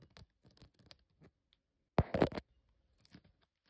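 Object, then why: Woven esparto grass basket. Long fingernails scratch and tap the braided weave of a hollow, hand-braided natural esparto grass basket with a handle, holding dried flowers and loose raffia. Soft, dry scratches and light taps come in scattered bursts, broken by one louder, rough scraping rush in the middle before the quiet tapping resumes.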